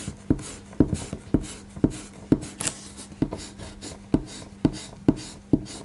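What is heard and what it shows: A small rubber eraser is held in the fingertips and rubbed repeatedly over a thin white drawing paper sheet that lies flat on a table, pressed down by one hand. Short, dull scuffing strokes land in a steady rhythm, each a soft thump with a quick papery rasp, over a faint low hum.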